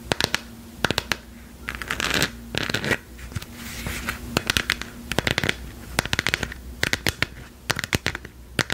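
Long acrylic nails tap and scratch a lit, hand-sized hollow plastic sphere printed with a galaxy pattern, held in both hands. Sharp, bright clicks come in quick irregular clusters, broken up by short raspy scratching bursts. A faint steady low hum runs underneath.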